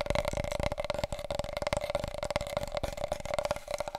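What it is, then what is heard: Large cardboard tube. Long coral nails and fingertips rapidly tap and scratch along a long, wide, hollow, empty brown cardboard tube from a huge paper roll, held across the body. The dense, fast clicks and scratches carry a steady hollow ring around 600 Hz from the tube, with short, dry decays throughout.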